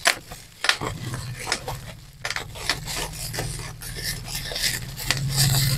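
Bunched clear plastic bubble wrap is held in both hands, its bubbles pinched and popped with thumbs and fingertips, along with some rubbing. Sharp, bright pops and snaps stand out over a continuous crinkly, rasping rustle. A steady low hum runs underneath.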